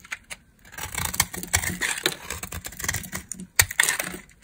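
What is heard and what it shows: A metal blade scrapes and cuts dry, crumbly shavings from a solid dry brown laundry soap bar held in hand. The sound is a run of crisp, bright scraping and crackling strokes with quick dry clicks and almost no ring. A few sharper crunchy cuts stand out near the middle and end.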